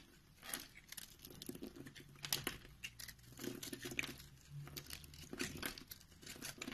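A utility knife blade with a green handle scrapes the surface of a solid round orange and white bar of soap held in the palm, and crumbly powder falls off. The sound is quiet, dry, crisp scraping and crumbling, with bright, gritty bursts that come in uneven strokes. A faint low hum sits underneath.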